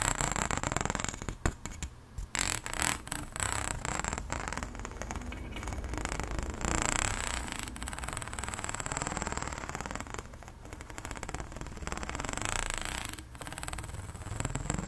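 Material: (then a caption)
Plastic. A long, stretched, pink, ribbed, hollow plastic pop tube is held out over a table while long blue nails scratch and run along its ridges. This makes a continuous raspy, ratcheting scrape with a low hollow rumble and a faint steady high whine, with a few brief pauses in between.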